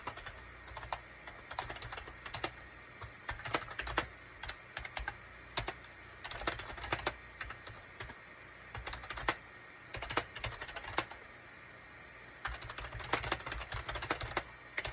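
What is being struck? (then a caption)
Plastic computer keyboard. Fingertips of both hands type rapidly on a gray SHIPADOO K600 full-size wired USB keyboard, which has a gray plastic case and cream, gray and orange plastic keycaps. Bursts of quick, bright plastic key clacks come in flurries separated by short pauses, each tap dying away almost instantly over a faint steady low hum.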